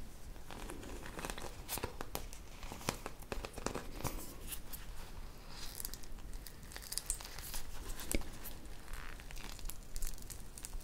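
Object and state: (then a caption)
Bead-covered squishy toy being squeezed. A hand-sized soft squishy toy covered in small colorful plastic beads is squeezed and pressed with long painted nails and fingertips close up. It gives off a continuous run of crinkly crunching and crackling, with many sharp bright ticks over a low rumbling background.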